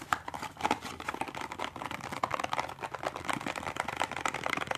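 A small, hollow cardboard toothpaste box is held upright and tapped quickly on its end flap and side with the fingertips and nails of both hands. The result is a fast, continuous patter of dry, hollow clicks that die out instantly, with a papery midrange tone, some bright edge and almost no low end.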